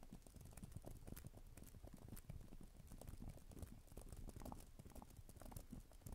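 Long nails type rapidly on a black plastic tablet type-cover keyboard with plastic keys, making a dense run of quick, dull clicks and clacks. The added echo blurs the taps into a continuous, low-heavy patter.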